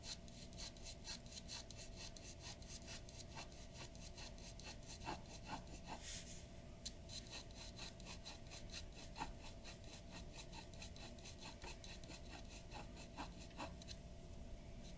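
A glass dip pen nib scratches in rapid strokes across a large flat sheet of white drawing paper resting on a wooden table. The result is a quiet, steady, dry scratching with bright, brief tick-like strokes over a low background rumble.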